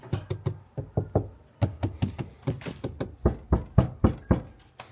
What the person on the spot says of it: Now everything is very muted.